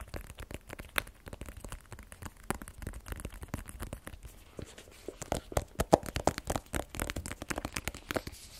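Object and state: Cardboard phone box.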